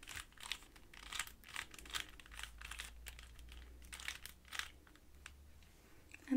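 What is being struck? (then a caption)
Plastic puzzle cube. A standard-size 3x3 plastic Rubik's cube, a hollow puzzle with coloured stickers, is turned layer by layer by fingertips with long painted nails. The result is a rapid, irregular stream of dry plastic clicks and rattles with bright crinkly edges. A sharp, louder knock closes the clip as the cube ends up solved.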